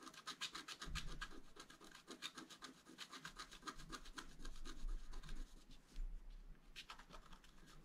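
A wooden stylus scratches the coating of a flat black-coated scratch art card, making a quick, uneven run of short, dry, bright scratching strokes at about four per second. The strokes thin out briefly near the end, then resume.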